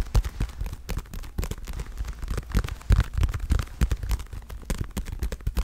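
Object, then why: Padded leather boxing glove. Fingertips and long nails tap the leather surface of a dark blue padded leather boxing glove. Rapid, irregular taps land as soft, muffled thuds with very short decay, heavy in the low end with little brightness.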